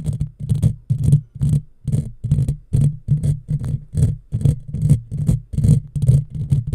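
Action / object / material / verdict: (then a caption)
scrape / woven steel mesh microphone grille / steel mesh / none. Long fingernails of both hands scratch over the top of a hollow, black, round woven steel mesh microphone grille in quick, uneven bursts. Each stroke comes through as a deep, boomy, rumbling scrape with a faint bright hiss above it, cut off sharply between strokes.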